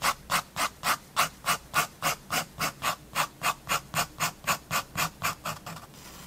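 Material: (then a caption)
Paper. A fineliner pen makes fast, repeated hatching strokes across a building sketch on a page of a spiral-bound paper sketchbook. About two dozen short, dry scratches come in a quick, steady rhythm, each a bright hiss centred around 1 kHz. The strokes fade and blur together at the end.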